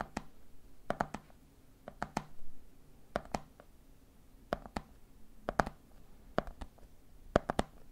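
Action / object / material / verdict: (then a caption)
tap / plastic jar lid on a jar of peanuts / plastic / none. Fingertips tap rhythmically on the red plastic lid of a medium clear plastic jar full of peanuts. There are about nineteen short, dry clicks in quick groups of two or three, each with almost no ring, over a faint low hum in a quiet room.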